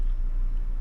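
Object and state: Nothing is struck.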